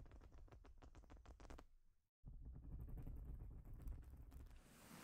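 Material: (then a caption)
Plastic. Long nails tap a quick, even run of light clicks on a large, flat plastic Lego-style baseplate, a thin solid sheet covered in studs. After a brief silence, they scratch across the studs in a steady, low, rumbling rasp with faint bright clicks on top.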